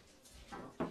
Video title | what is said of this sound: La Clopinière Journée Patrimoine de Pays 2009 | Ça sonne le creux. C'est bon.